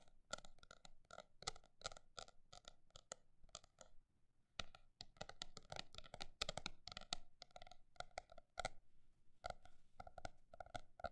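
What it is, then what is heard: Notebook tapped. A paper notebook is tapped with quick and slower taps in an irregular rhythm, with a brief quiet gap near the middle. Each tap is short and dry with almost no ring, giving crisp clicks with hollow midrange tones and bright upper edges over a faint low rumble.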